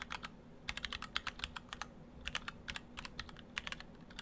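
Fingertips of both hands type on an Orthodox Rev3.1 split ortholinear mechanical keyboard, built in two halves with clear acrylic cases, stock Gateron Brown switches and white and cyan PBT dye-sub keycaps. Quick bursts of crisp, bright clacks die away almost instantly, with a brief lull near the middle. A faint low hum sits underneath.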